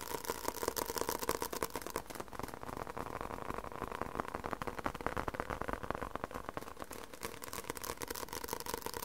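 A paper book is tapped aggressively with fingers, giving a rapid, uneven stream of dry, short taps with bright clicky edges. Under the taps runs a steady tonal layer around 450 Hz and 1 kHz, and the tapping keeps a fairly even level throughout.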